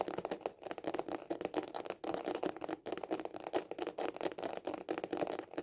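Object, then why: Hard-shell plastic glasses case. A small, hollow hard-shell glasses case with a white printed cover is held horizontally in both hands and tapped fast with the fingertips and short nails. The result is a quick, steady stream of dry, hollow clicks with a midrange knock and very little low end. The tapping stops briefly just before the two-second mark and again near three seconds.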